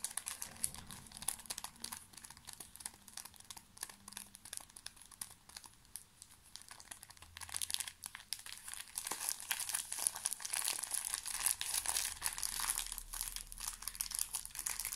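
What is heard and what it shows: A small, full pocket tissue pack in thin plastic film is crinkled and scratched with fingertips and nails. The result is dense, bright, rapid crinkling and scratching with crisp, high-pitched crackles. The sound stays quiet for the first half, then grows louder and busier from about the midpoint onward.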